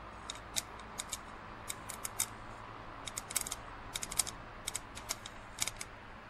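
Fingernails tap rapidly on the side of a hollow, empty printed plastic drinking cup lying on its side on a plastic lid. About twenty short, bright clicks come in irregular bursts, each dying away almost at once over a faint steady hiss.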